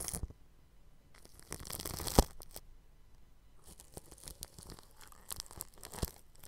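A bristle paintbrush rubs the grille of a round microphone wrapped in clear plastic cling film, producing crinkly, scratchy brushing in uneven bursts. There is a sharp louder crackle partway through, followed by quieter, bright rustling strokes.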